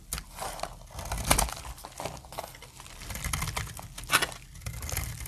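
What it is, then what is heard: Dry soap bar, crunchy when cut. A utility blade cuts crunchy flakes off a stamped, solid, light brown dry soap bar. Dry crackling scrapes and crisp crunches run throughout, with a soft low rumble underneath, and two louder, brighter cutting bursts stand out near 1.3 and 4.2 seconds.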